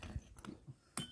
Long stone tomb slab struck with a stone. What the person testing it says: glass sound కొంచెం glass sound అయితే వస్తుంది, గంట సౌండ్ లాగా వస్తుంది, కొంచెం డిఫరెంట్